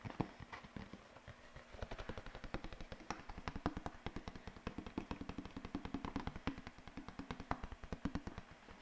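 A single large sheet of thin white paper or card is held in both hands by the fingertips and bent, flexed and waved close to the microphone. It makes a fast, continuous run of sharp crackling snaps, each with a dull low thump and a brief bright edge, dying away almost instantly.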